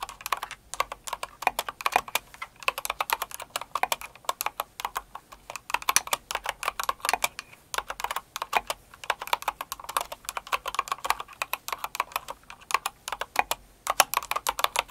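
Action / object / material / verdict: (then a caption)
tap / mechanical keyboard with plastic keycaps / plastic / none. Both hands with long acrylic nails type steadily on a Cinnamoroll-themed kawaii mechanical keyboard with plastic keycaps. The result is a rapid, continuous stream of sharp, dry plastic clacks with a mid-pitched body and bright tops. Each click is short and clean, with almost no low end or ring.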